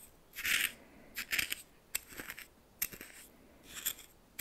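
A red plastic spoon stirs coarse salt in a small bowl, producing bright, gritty scraping and crunching bursts. The crunches come in uneven clusters with sharp ticks between them and quiet gaps in between.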